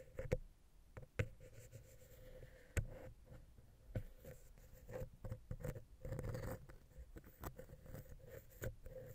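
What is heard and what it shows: A wooden ear pick taps and scratches the top of a small, hollow silver metal X/Y microphone capsule on a Zoom H6. Sharp, short taps stand out over soft, dry scraping and scratching, heavy in low, close thuds with a faint steady mid tone running underneath.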